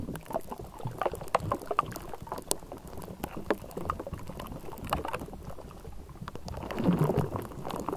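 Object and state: Metal mesh microphone grille.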